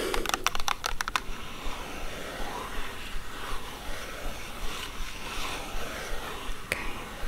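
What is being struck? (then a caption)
Printed cardboard box. Long nails tap the sides of a hollow, hexagonal printed cardboard haggis box in a quick, typing-like rhythm. A burst of sharp, dry clicks opens the clip, then gives way to softer scraping and faint taps, with one more crisp tap near the end.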